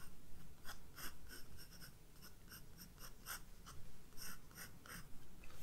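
A graphite pencil draws detail lines on a flower sketch in a spiral-bound sketchbook of white paper. Quiet, irregular short strokes of bright, scratchy friction come in quick bursts over a steady low rumble.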